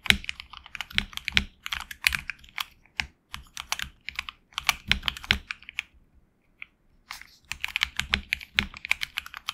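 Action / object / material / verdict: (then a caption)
tap / mechanical keyboard with plastic keycaps / plastic / none. Fingertips of both hands type on a tenkeyless HyperX Alloy Origins Core mechanical keyboard with HX Red switches and grey and red PBT keycaps, resting on a deskmat. Quick runs of short, bright, clacky keystrokes with very little low end pause briefly near the middle before the typing resumes.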